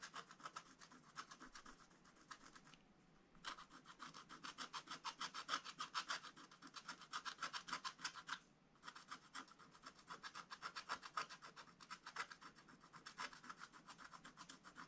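A wooden stylus rubs and scratches the coating of a black scratch-art card in a spiral book, making quick, uneven scratchy strokes. The rasp is bright and dry, centered around 1.3 kHz, with brief pauses near 3 seconds and 8.6 seconds.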